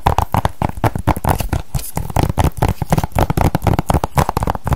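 A small, hollow hard-plastic PS3 game case with a printed cover insert is held in the hands and tapped and scratched with long decorated nails. Around thirty quick, dry, hollow taps land in a fast, uneven rhythm, mostly low and knocking with a slight clicky edge, each dying away almost at once.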